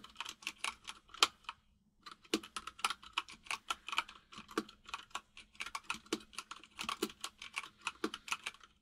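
Fingertips of both hands type on a full-size mechanical keyboard with white and grey plastic keycaps and a hollow case, producing rapid, bright, clacky key taps with almost no ring. A short pause near the two-second mark breaks the otherwise steady run of about 34 taps.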